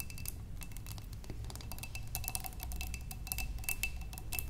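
Long nails on both hands tap rapidly on a large clear glass vase, partly filled with water and holding stems, standing on a wooden table. The taps are quick, light and bright, with a faint glassy ring near 2.7 kHz over a steady low rumble.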